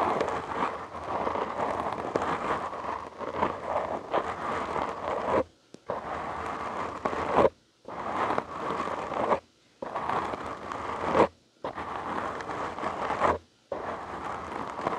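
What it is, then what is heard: Foam microphone windscreen being scratched. Fingertips and short nails of both hands scratch a black foam windscreen on a large microphone, producing a dense, crackly, rustling scrape centered in the midrange. The scratching comes in six sustained bursts separated by brief silences, the first lasting about five seconds.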